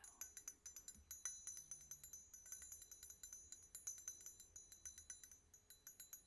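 A hammered copper bar jigger is clinked and tapped in a quick, steady series of light metallic strikes. Each tap gives a bright, high, bell-like ring that fades quickly, ringing even more bell-like than the jigger before it.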